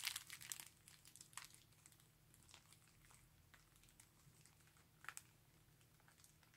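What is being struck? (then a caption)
Thin polyethylene bag. An empty, thin, clear polyethylene garment bag is scrunched and squeezed into a ball by gloved hands, giving off bright, crisp crinkling and crackling. The crinkling is loudest in the first second and a half, then settles into softer rustling, with another sharp burst about five seconds in. A faint steady low hum sits underneath.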